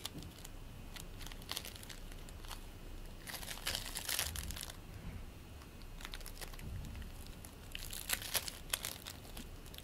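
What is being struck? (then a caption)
Play foam made of tiny polystyrene beads in a sticky binder. A fist-sized ball of soft green play foam, made of tiny polystyrene beads in a sticky binder, is squeezed, pulled apart and kneaded by fingertips. It gives dense, bright crackling and crinkling in clustered bursts over a low rumble, loudest around the middle and near the end.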